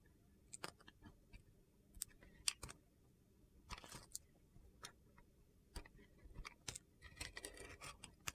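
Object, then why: Bar of soap cut with a metal knife. A hand-held solid red and white soap bar with a glitter top scored in a grid is cut and chipped with a metal utility knife, taking off small pieces. A series of short, crisp, crunchy scrapes and clicks with bright high-frequency edges sounds over a quiet background.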